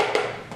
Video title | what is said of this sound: ✅ Project Pan Finale - (Whew)! - 16 By Halloween, but I accidentally added one more! | It is completely hollow, and I will just tap on it so you can see it is empty.